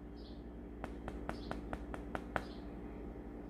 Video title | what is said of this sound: This phone breaks the budget mold💪🏾 Pixel 3a dominates💪🏾 | sounds the same sounds like glass